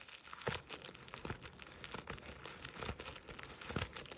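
Long acrylic nails scratch and rub a soft, hollow jute burlap Christmas stocking with a stitched red-and-black buffalo check appliqué letter A, held close. The result is a quiet, dry, crinkly scratching with irregular rustling bursts and a few sharper scrapes over a faint background hiss.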